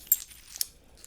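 Pieces of sea glass in a small net bag are shaken so they clink against each other. Four brief, bright, high-pitched clinks with almost no ring ring out over near silence.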